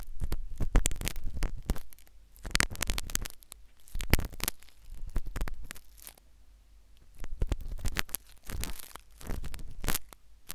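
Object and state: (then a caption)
Silicone ear microphone scraped with a metal needle. A metal syringe needle scratches inside the canal of a solid, soft white silicone ear replica on a binaural microphone, entering from a different angle. Bursts of deep, rumbling scraping with sharp clicks and crackles come in several clustered waves separated by quiet gaps.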